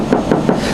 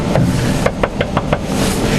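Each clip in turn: First: steel car body panel. Second: aluminium car body panel, dull sound.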